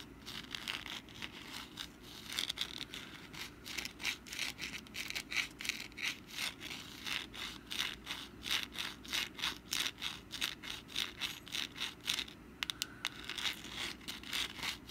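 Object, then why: Papier-mache pumpkin decoration. Long black nail tips scratch the crinkled surface of a rust-brown papier-mâché pumpkin decoration in close-up. The result is a steady run of quick, dry, bright scratching strokes with a crackly, papery texture, each stroke short with almost no ring, over a faint low hum.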